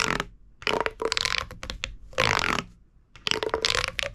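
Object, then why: Corrugated plastic pop tube toy. A hollow, purple corrugated plastic pop tube toy is squeezed and crunched in the hand with the fingers and thumb. It gives bursts of bright, crinkly crackling with a faint squeaky tone underneath, separated by short quiet pauses.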